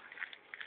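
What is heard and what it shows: Charred wood or vegetation from a slash-and-burn clearing is handled, possibly crushed or broken, giving a quiet, bright, crisp crackle with four short snaps. The sharp, brittle sound shows the wood is dry and brittle from burning.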